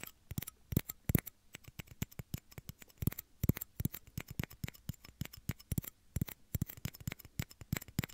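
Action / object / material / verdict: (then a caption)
tap / small plastic shot glasses / plastic / none. Two small, hollow, empty clear plastic shot glasses are held beside the microphone's ears and tapped and scratched with fingernails. The result is a quick, irregular stream of dry, clicky plastic taps, each with a soft low body and a brief bright edge, dying away almost instantly with no ring, mixed with light scratching between taps.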